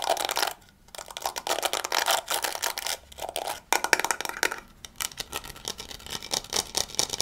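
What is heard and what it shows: Fingertips scratch and flick the soft bristles of a small handheld pink and yellow plastic scalp massager and tap its body. The result is a fast, crackly run of bright scratchy bursts and dry little clicks with almost no low end, broken by a few brief near-silent pauses.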